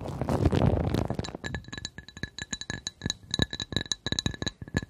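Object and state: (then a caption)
Glass coaster. A glass coaster is tapped in quick, uneven succession, giving short bright clinks with steady high ringing partials over soft low thumps. The clip opens with a denser, louder rustling wash before the separate taps take over.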